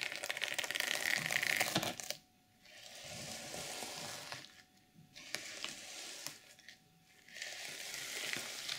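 Long nails scratch and rub across the flat, reversible sequin fabric cover of a journal, flipping the sequins so they change color. A bright, dense rasping scratch comes in several bursts separated by short near-silent pauses.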